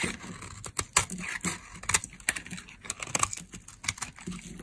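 A thin, dry, solid tan laundry soap bar held in the hand is carved with a metal blade that scrapes off crumbly slivers. The result is a run of short, bright, crackly scraping and cutting sounds with quick, dry attacks over a soft hiss.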